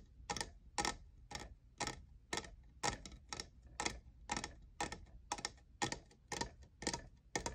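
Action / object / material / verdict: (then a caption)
tap / plastic studded tumbler / plastic / none. Fingernails tap the faceted side of a tall, hollow, lavender plastic jeweled tumbler that appears empty. Crisp, bright clicky taps come in a loose rhythm of about two per second, some landing in quick pairs. Each dies away almost at once over a low, steady hum.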